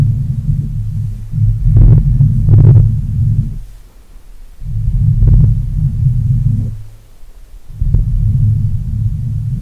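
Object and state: Metal microphone grille being rubbed.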